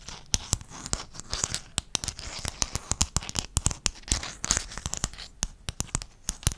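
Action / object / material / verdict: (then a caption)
scrape / hexagonal mosaic tile sheet / unknown / none. Fingertips and nails scratch over the faces of a flat sheet of small silver-blue hexagonal mosaic tiles held close to the microphone. The result is a fast, irregular stream of sharp, bright clicks and ticks over a dry, scratchy hiss, with each tap dying away almost instantly.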